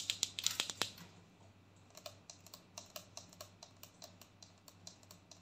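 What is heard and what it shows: Long fingernails tap rapidly on a large white plastic body scrub tub with a ridged lid, giving sharp, bright clicks with almost no ring. A loud cluster of taps in the first second gives way to a quieter, steadier run of lighter taps, about 18 in all, over a faint low hum.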